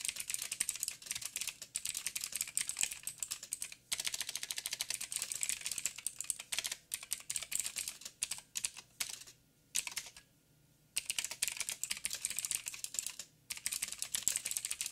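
Fingertips of both hands type steadily on a backlit 87-key mechanical keyboard with plastic keycaps and clicky blue switches. Rapid, bright, crisp clicks with very short decay run in dense bursts, broken by brief pauses around 4 seconds and 13 seconds and a longer near-silent gap around 10 seconds.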